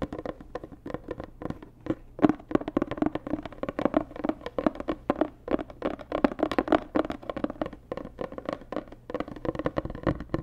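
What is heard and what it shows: Long nails tap rapidly on a hollow, white, rigid cardboard Dior gift box, making quick, dry clicks with a hollow mid-pitched tone around 300 Hz. The taps come in dense, uneven bursts with almost no ring after each one.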